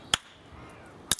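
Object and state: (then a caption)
Cracked flint nodule. A hammer strikes a surface-found English flint nodule twice to test the material, giving two short, bright, high-pitched taps about a second apart with almost no ring. The dull, quickly damped tap shows the nodule is cracked inside, and a large crack runs right through it, splitting the piece into two halves.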